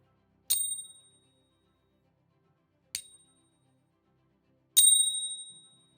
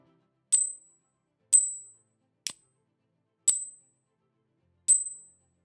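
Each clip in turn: First: Three bright, high pings with clean tones that ring on and fade slowly: a genuine silver coin. Second: Five high, thin pings that fade within half a second: a counterfeit silver coin.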